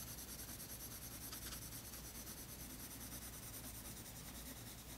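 A colored pencil rubs shading strokes across a tan toned paper page of a spiral sketchbook. The sound is a steady, soft, continuous scratchy rubbing with bright hiss and a low background hum. It stays at an even, quiet level throughout.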